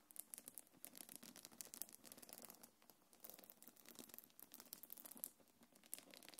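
Long nails scratch and rub a small black quilted faux-leather belt bag and its gold metal chains. The result is a dense stream of quiet, bright scratching and crinkling ticks. Sharper clicks stand out from the steady rustle.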